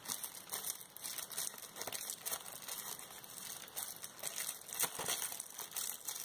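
A large clear plastic bubble wrap sheet, held up by one hand with painted nails, is crinkled and shaken. A continuous, bright, crackling rustle of dense small crinkles rises and falls throughout, with almost no low end.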